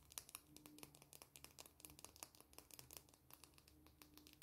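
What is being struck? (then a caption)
Slim plastic pen with a metal band. A slim black plastic pen with a metallic band is held in both hands and handled and tapped with long painted nails and fingertips. The result is a quiet, rapid series of short, bright clicks and scratchy taps that die away almost instantly, over a faint steady low hum.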